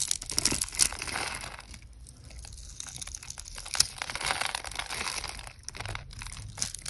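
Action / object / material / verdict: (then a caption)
scrape / bar of soap / soap / none. A utility knife blade scrapes and cuts a solid pink oval soap bar that is pre-scored in a grid and held in the hand, shaving off small cubes. Dense, bright crinkling scrapes and crisp crunches come in quick, uneven bursts with soft pauses between.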